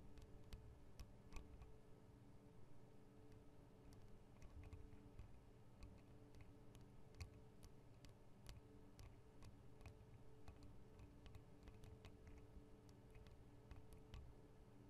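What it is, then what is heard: Metal microphone guard of a handheld recorder. Long acrylic nail tips tap the metal guard wings around the microphone capsules of a Tascam DR-40 recorder. The taps make sharp, bright ticks at an irregular pace over a steady low hum. The clicks are quiet and die away almost instantly.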